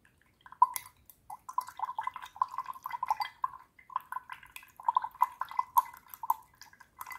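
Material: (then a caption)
Glass. A wooden paintbrush handle taps and stirs inside a small clear drinking glass printed with hearts and holding water. It makes a fast, irregular run of light clinks and watery drips, each ringing around 1 kHz with bright upper glints, separated by brief pauses.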